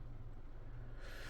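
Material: Nothing is struck.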